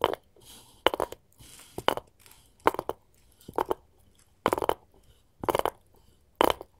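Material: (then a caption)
Wood. A wooden cutting board is tapped with gold finger rings, giving short, sharp clicking taps in quick pairs and small clusters, separated by brief quiet gaps with faint rustling. Each tap is dry and dies away almost instantly, with a midrange knock and a bright edge but almost no low end.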